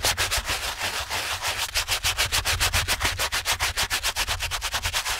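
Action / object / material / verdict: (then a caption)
scrape / canvas slip-on shoe and stiff bristle brush / canvas / none. A wet, foamy TOMS canvas slip-on shoe upper, held in a gloved hand, is scrubbed back and forth with a stiff-bristled shoe brush. About 26 quick, steady strokes make a bright, hissy scratching over a soft low rumble. Each stroke swells and fades in a rhythmic rub.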